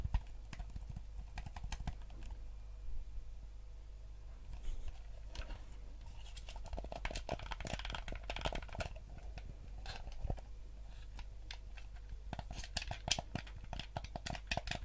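A yellow hollow plastic gamepad is held in both hands while fingertips click its buttons and tap its casing. The result is a steady run of quick, dry plastic clicks and taps with bright edges over a constant low hum.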